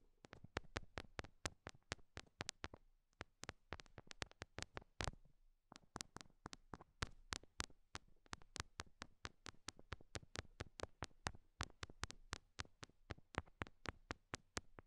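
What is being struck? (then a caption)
Rhinestone heart sticker on a silicone microphone ear. Long nails tap rapidly on small solid pink rhinestone heart stickers stuck to the silicone ears of a binaural mic, producing about sixty crisp, bright clicks with almost no ring. The taps come in quick, uneven bursts at a low level, with a brief pause near the middle before the tapping resumes.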